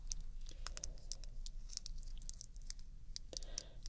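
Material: Glass.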